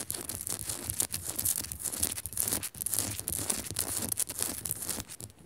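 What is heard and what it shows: Long natural nails scratch quickly over the rough surface of a small, solid pink Himalayan rock-salt crystal night lamp on a metal base. The result is a fast, dense run of dry, gritty, hissy scraping with little low end.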